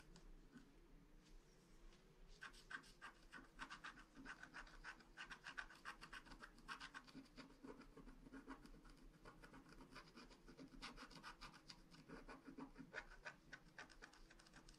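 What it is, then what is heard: Wax-coated scratch art card. The tip of a wooden stylus scratches a flat black wax-coated paper scratch art card lying on a table, working near the cloud area. After a quieter first two seconds, the clip fills with quick, dense, dry scratching strokes that sound bright and papery. A low, steady hum sits underneath.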